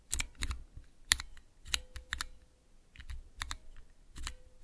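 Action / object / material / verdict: tap / plastic keycaps on mechanical key switches / plastic / none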